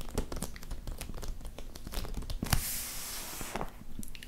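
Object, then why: Adhesive vinyl contact paper sheet. A flat sheet of striped adhesive vinyl contact paper is laid over a surface while two hands with short painted nails rest on it, then one hand slides and rubs across it with fingertips and nails. Dense crinkling and tearing-like crackles fill the clip, with a louder, bright, hissing rub in the middle before quieter crinkles return.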